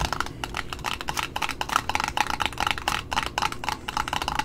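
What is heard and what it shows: Long nails tap rapidly on the top disc and the side of a red satin ribbon roll wound on a cardboard spool. The result is a quick, irregular run of dry, clicky taps with a woody, knocking tone around 1.3 kHz and a bright edge. Each tap dies almost instantly, over a faint low rumble.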